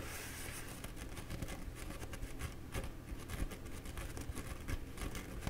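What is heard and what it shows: Fingertips and nails scratch and rub the surface of a bee-printed, embossed paper towel roll held horizontally. The sound is a steady run of soft, papery scratches and brushing strokes with brief, bright crackles over a constant low rumble.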